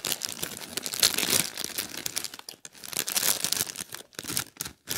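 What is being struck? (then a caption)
Small plastic bag partly filled with popcorn. A small clear plastic bag partly filled with popcorn is held in both hands and squeezed with the fingertips. It gives a continuous bright, high crinkling that swells around the first and third seconds and breaks into short bursts separated by brief silences near the end.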